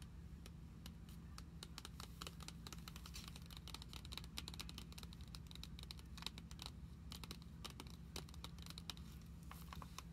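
Long acrylic nails tap rapidly on a glossy plastic-covered card binder filled with cards and lying flat on a table. A dense run of quick, short, bright clicks with no ring plays over a steady low hum.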